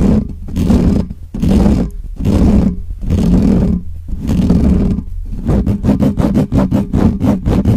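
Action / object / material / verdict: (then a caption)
scrape / metal mesh microphone grille / metal mesh / none. Both hands scratch rapidly with fingernails on the top of the hollow metal mesh grille of a black Blue Yeti microphone. This makes loud, boomy, roar-like rasping bursts heavy in low rumble. The first half has longer sustained strokes, and after about five seconds it breaks into quick, choppy repeated scrapes.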